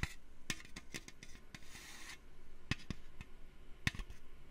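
Fingertips tap a metal can for ASMR, making a quick series of soft, dry clicks, each with a low thump and a bright, short-lived tick. A brief scratchy rubbing sound comes between the taps.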